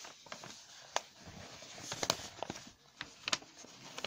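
Fingertips rub, crumple and scratch the pages of a large, thin newsprint newspaper lying open on a surface, turning them over. The result is a soft, bright rustling broken by a series of sharp, dry crackles that die away almost instantly.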